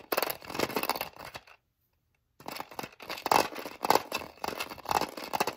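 Long nails tap rapidly on the lid compartments of a small, hollow, clear hard-plastic storage case holding sewing bobbins. The result is dense, bright, hollow plastic clicking with a pitched tone near 870 Hz and almost no low end. The tapping comes in fast bursts, broken by a short silence before it resumes.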